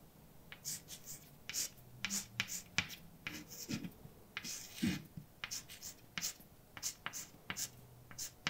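A hand writes letters with white chalk on a large, dark chalkboard with a flat, solid surface. The chalk makes bright, dry scrapes and sharp little taps in quick, uneven bursts, with faint low thuds, and each stroke stops almost at once.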